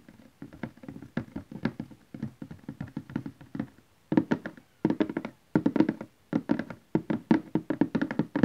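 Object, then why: Cardboard DVD box set. A large cardboard DVD collection box set lies flat and is tapped with fingernails and fingertips of both hands. Quick, dry, hollow taps come in rapid bursts with a low-mid body and almost no ring. The later bursts grow louder and are separated by brief silences.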